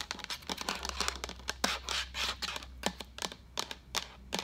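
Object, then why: Plastic pitcher. Long acrylic nails tap and scratch the sides of a hollow, empty-looking translucent white plastic pitcher with a pink lid, held sideways. The result is a quick, irregular run of sharp, bright clicks mixed with brief scratchy swishes, each dying away almost at once over a faint low hum.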